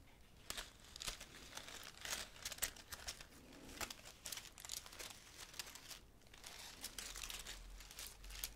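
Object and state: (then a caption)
Laurel leaf wreath. Fingertips with long nails stroke and crinkle the leaves of the same green laurel leaf wreath close to the mic. The result is soft, dry, bright crinkling and rustling in a steady run of quick bursts, with a few sharper crackles along the way.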